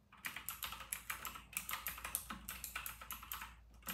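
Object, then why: Plastic mechanical keyboard. Fingertips of both hands type fast on an RK960 full-size white mechanical keyboard with round retro plastic keycaps. The result is a quick run of about twenty bright, clacky keystrokes, each dying away almost at once, with a brief pause near the end.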